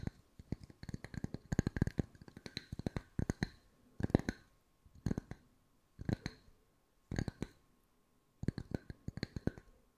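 Wooden discs are tapped with the fingertips at mixed speeds, giving quick, dull, low-pitched wooden clicks. The taps come in fast clustered bursts separated by short silent pauses, each tap dying away almost instantly.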